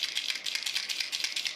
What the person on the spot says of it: hefty rattle and you can feel it in there when I'm shaking it